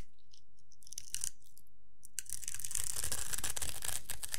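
A solid rectangular bar of dry yellow soap, held in the hand, is scraped and shaved with a metal blade, and the shavings curl off onto a pile. A few faint, crisp scratches open the clip, then it breaks into continuous, bright, crunchy scraping that lasts to the end.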